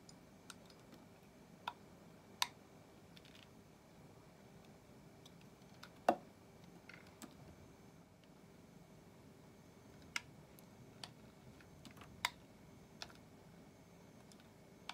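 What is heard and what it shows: A small solid white soap bar, held between fingers, is shaved with a metal utility-knife blade, and the flakes drop onto a pile. About twelve short, sharp scraping clicks come at irregular intervals over a quiet, steady background hum, each dying away almost at once.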